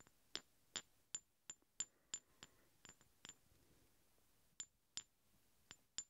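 Two large solid steel hex bolts, held one in each hand, are tapped and clinked against each other 13 times at an uneven pace, with a longer pause in the middle. Each contact is a sharp, bright metallic clink with a high ringing tone that dies away almost at once.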